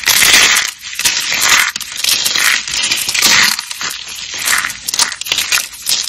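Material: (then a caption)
Soap. Fingertips snap and crush thin, dry, dark green soap strips flecked with pink glitter, which are solid and brittle. The sound is a dense run of crisp, bright crunching and crackling in surging bursts, almost entirely high and with no low end. Each burst fades quickly into the next.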